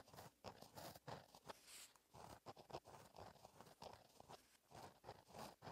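A gel pen tip scratches cursive writing across a flat black lined paper notebook page, the same page throughout. Quiet, papery scratching strokes come in short bursts with brief pauses, each stroke a dry, crunchy rasp with bright edges.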